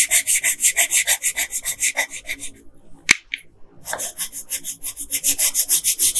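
A hand with long pink nails rubs a yellow colored pencil back and forth across a flat paper coloring page, making rapid, bright, scratchy strokes about three per second. The strokes stop briefly in the middle, broken by a single sharp tap, then resume at the same steady pace.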